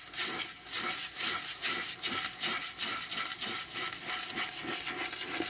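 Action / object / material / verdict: scrape / varnished wooden table top / wood / none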